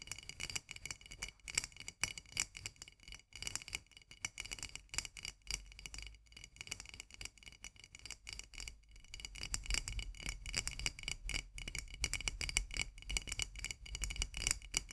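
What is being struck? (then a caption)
Painted metal twist lid on a glass jar. Long nails tap and scratch a white painted metal twist lid on a full glass jar. The clip is a fast stream of bright, clicky taps with a metallic ring near 2.2 kHz, mixed with scratchy friction. A low rumble grows stronger underneath after about 9 seconds.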